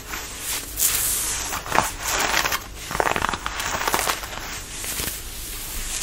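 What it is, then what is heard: Denim fabric scratched. Fingernails scratch the fabric of a fitted denim dress being worn, working at the neckline and the waist. The result is a steady run of dry, bright, crackly scratching strokes that swell and fade with little low end.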